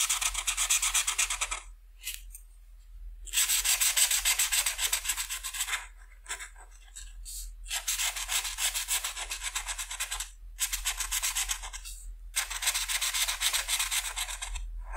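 A green felt-tip marker tip rubs over small wing cells on a flat paper coloring sheet in short strokes while the other hand rests on the paper. The sound is a bright, high, fast scratchy rasp that comes in several bursts with brief silent pauses between them.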